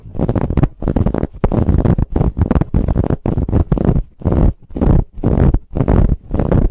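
Long acrylic nails scratch the surface of a large, soft pillow covered in brown striped ribbed fabric. Quick bursts of scratching repeat in a loose, uneven rhythm with brief gaps between strokes. The sound is dominated by a deep, rumbling friction texture with a faint airy hiss on top.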